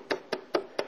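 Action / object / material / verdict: tap / granule-coated steel roofing panel / coated steel / dead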